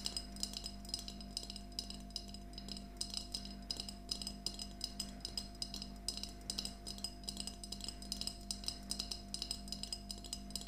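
A small, empty glass mason jar mug with a handle and a yellow plastic lid, held upright in both hands, is tapped rapidly with long nails. The taps are quick, bright glassy clinks with almost no ring, coming in a steady, uneven flurry over a faint low, constant hum.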